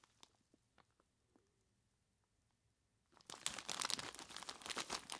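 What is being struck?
Plastic bag filled with ice cubes.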